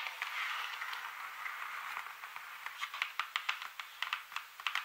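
Long metallic-tipped nails and fingertips of both hands, with rings on the hands that may add faint metal clicks, scratch and tap a large open paint color chart of thin, solid printed cardstock lying flat on a surface. A soft, continuous, papery scratching fills the first half, then gives way to a run of short, bright, crisp taps that die away almost instantly.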